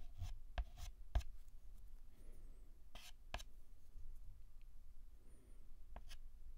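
A white chalk stick held by hand is drawn across a flat black chalkboard, filling in the letter A with scratching and short tapping strokes. Sharp chalk taps and quick strokes sound over a low, quiet rumble.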